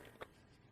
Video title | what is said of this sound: #1254 Super CUTE Ghost UV Resin Project For My LIVE Prep!! 7 Inspiration Styles To Choose From! | Just tap on it, make sure it's solid.